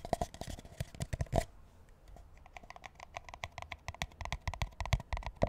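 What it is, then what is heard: Paper drink cup tapped and scratched. A large, empty paper McDonald's drink cup is held upside down while fingertips and nails tap and scratch its bottom. A rapid run of short, hollow, dry taps with a mid-pitched papery ring mixes with brief scratchy rasps. The tapping eases into softer scratching in the middle, then picks back up.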